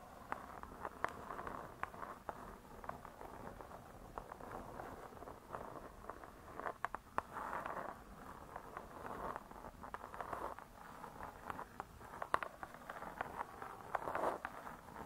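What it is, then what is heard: Spiral-bound hardcover book, tapped and scratched. Long nails scratch and tap the cardboard cover of a spiral-bound hardcover cookbook lying flat. Soft, papery scratching swells in quiet bursts centered in the midrange, with many short, dry taps clicking through it over about fifteen seconds. The sound stays low and intimate, with almost no boom and very little bright hiss.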